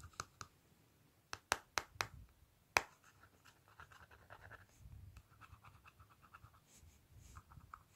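Fingertips and nails tap on the clear plastic lid of a small, flat Revlon lip powder palette with a black plastic case. A series of sharp, clicky taps in the first three seconds gives way to softer, continuous scratching across the lid.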